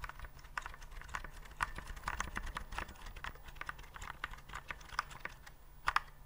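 A white plastic typewriter-style keyboard with round keycaps and a mechanical-style feel is held upright near the mic while fingertips press and tap the keys. The result is a steady run of quick, sharp plastic clicks centered in the midrange, with a few louder taps standing out over a faint low hum.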